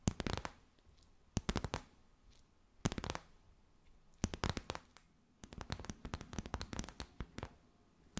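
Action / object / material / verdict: shake / thin plastic wrap / plastic / none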